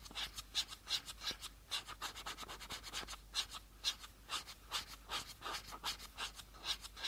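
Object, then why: Plastic bottle cap. Fingernails scratch across the surface of the teal plastic cap on a small, empty plastic bottle. About 22 quick, dry, bright scrapes come in an uneven rhythm, each dying away almost at once.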